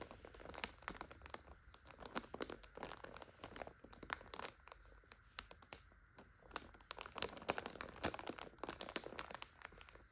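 Long nail tips tap and scratch the wrapper of a full plastic multipack of instant noodles lying flat. The result is a steady stream of bright, crisp crinkles and sharp little clicks with dry scratching between them, each sound dying away almost instantly.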